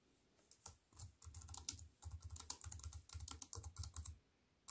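Fingertips with long white nails type fast on a compact wireless keyboard with black plastic keys in a thin silver aluminium frame, resting on a wooden table. Bursts of rapid, bright clicking sit over a soft low thump, broken by short quiet pauses between runs of keystrokes.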